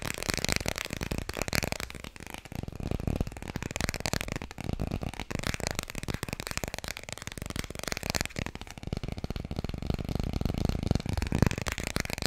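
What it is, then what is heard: Hardcover book. Fingers tap quickly and continuously on the hardcover of the children's book "Dikkie Dik." The taps are a dense, steady stream of short, dull knocks with a low, boxy body and light crisp clicks on top. They keep an even level for about 12 seconds.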